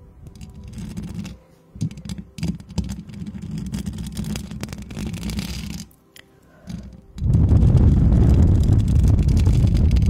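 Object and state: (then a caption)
Metal mesh microphone grille being scratched. Long acrylic nails on both hands scratch over the hollow, perforated metal mesh head of a white microphone throughout. The result is a dense, low, muffled rasping rumble with brief quiet gaps near 1.5 and 6 seconds. From about 7 seconds on, the scratching becomes much louder and heavier.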